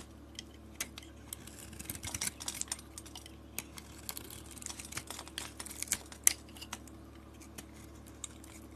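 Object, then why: Bar of soap with glitter coating, cut with a blade. A utility blade scrapes thin curls off a solid white bar of soap with a red glitter and silver coating. Quiet, crisp, bright scratching and clicking come in irregular bursts over a faint, steady low hum. Each sound is dry and stops short with no ring.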